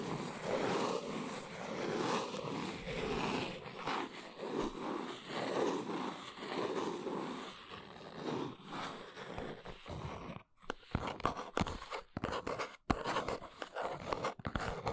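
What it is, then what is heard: Small cardboard box. A small brown cardboard box is turned in the hands, then stood on its end while long nails scratch its sides. For about ten seconds there is a steady, dense, papery rasp. After a brief gap it becomes sharper, separate scratching strokes broken by short silences.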